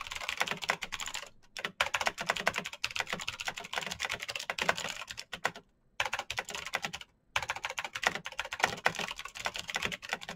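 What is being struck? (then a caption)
Plastic mechanical keyboard. Both hands type fast with their fingertips on a black plastic mechanical keyboard with green clicky switches and RGB lighting. The result is a dense run of sharp, bright clicks with very short decay. A few brief pauses break the run, near 1.5, 6 and 7 seconds.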